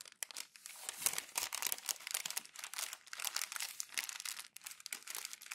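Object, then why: Glossy paper magazine pages. Bare hands crumple and roll glossy magazine pages with the fingertips, making a dense, continuous crinkling and crackling. The sound is bright and papery, with no low end, rising and falling in quick rustling bursts throughout.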